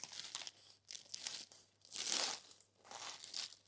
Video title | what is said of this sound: Je fais une galette des rois, mais mon chat n'est pas d'accord.. | regardez comme ça croustille. Entendez.